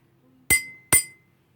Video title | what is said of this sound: Evde müzik aleti yapalım #5 | dolu bardak ise ince bir ses çıkarmaktadır